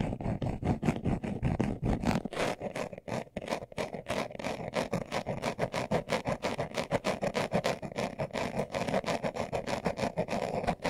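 A hand-sized, hollow, closed brown leather-covered glasses case is held in both hands while its surface is scratched fast with short nails and fingertips. Dense, rapid bursts of dry scratching follow one after another with no pause, carrying a low, hollow body and only a little high-end hiss.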